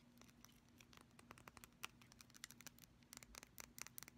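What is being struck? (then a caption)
Small glass nail polish bottle. Long pastel fingernails rapidly tap and scratch a small, apparently full mint-green glass nail polish bottle with a black cap and a label. The quiet clip is a string of sharp, bright clicks and light scrapes that cut off instantly, over a faint steady low hum.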